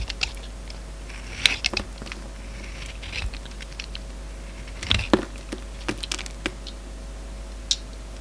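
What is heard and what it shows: A steel utility-knife blade shaves curls off a solid, hand-sized oval orange soap bar with a silver glitter rind, held in the palm. It makes a scattered series of short, crisp, bright scraping clicks, separated by quiet gaps over a steady low hum.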